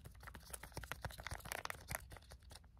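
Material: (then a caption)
Plastic. A small, flat white plastic sample sachet held in both hands is tapped quickly with fingernails. About fifteen rapid, sharp clicking taps blend with a light plastic crinkle, each tap dying away almost at once.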